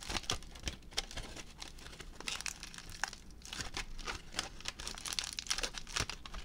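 A crumpled ball of aluminium foil is held close and crinkled with the fingertips, producing dense, bright crackling and sharp crinkly snaps in rapid, uneven bursts. A faint low rumble sits steadily underneath throughout.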